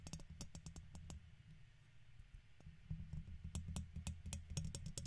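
A red plastic guitar pick scratches across the side of a silver microphone's hollow, domed metal mesh head. The result is a dense, low rumbling scrape punctuated by sharp, bright clicks at an uneven pace. It grows louder and busier in the second half.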